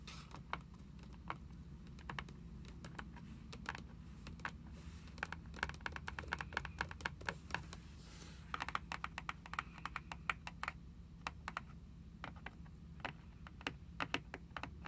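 Long acrylic nails tap on the solid grey cardboard endpaper inside the cover of an open hardcover book lying flat. Dozens of short, dry, clicky taps come in quick irregular bursts, with a brief pause near the middle. A steady low hum sits underneath throughout.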